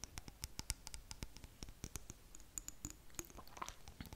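Long nails tap and scratch quickly against the sides and lid area of a small clear glass jar with blue contents. The sound is a quiet, fast run of sharp, dry clicks and scrapes with short bright pings.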